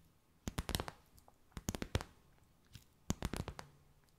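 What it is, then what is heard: Plastic bag, tapped and crinkled. A clear, stiff, empty plastic bag stretched between the hands is slowly tapped and crinkled with long nails. The result is three quick bursts of sharp, dry clicks and crackles, each ringing bright through the highs with a soft low thump, separated by near-silent pauses.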